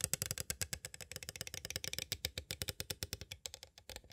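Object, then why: Clear plastic cassette tape case. Fast taps with two green plastic stick tools land on the edges of a small, hollow, clear plastic cassette tape case. About thirty short, dry clicks come in a rapid, uneven run, each bright and high with a small hollow knock underneath and almost no ring.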